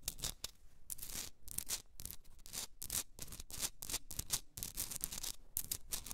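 Long red nails scratch the rough crystalline surface of a hand-sized pink Himalayan rock salt candle holder while it is held. The result is a rapid series of dry, bright, raspy scratching strokes with short pauses between them, each stroke dying away almost instantly.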